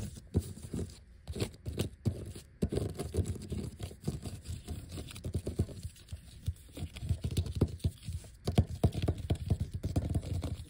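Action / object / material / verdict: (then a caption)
scrape / thin vinyl sticker sheet on paper backing / vinyl / none. Fingertips and short nails quickly tap and scratch a flat, thin black vinyl sticker sheet with large die-cut letters, some of them removed to show the white backing. Dense, rapid, soft pattering taps and dry scraping strokes carry mostly low, dull thuds with little bright edge, broken by a few brief pauses early on.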